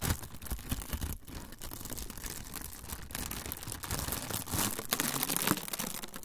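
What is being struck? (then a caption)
Thin plastic film sheet. A thin, clear plastic film sheet is crumpled with both hands close to the microphones. A steady run of dense, dry crinkles and crackles fills the clip, bright at the top with soft low rustle underneath. Several louder crunching bursts come near the end.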